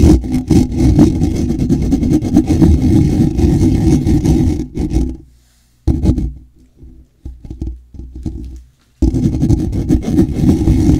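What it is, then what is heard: Metal mesh microphone grille being scratched. Fingertips and short nails scratch and rub the large, round, black woven wire-mesh grille of a hollow microphone head. The result is a dense, boomy, low-heavy scraping that drops to sparse, softer rubs and taps in the middle, then returns at full loudness.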